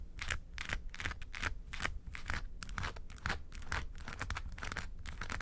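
Long nails scratch the side panels of a small, hollow, yellow textured faux-leather makeup suitcase. Quick, uneven strokes make a bright, dry rasp over a low, hollow body rumble. The scratching goes on steadily with short pauses between strokes.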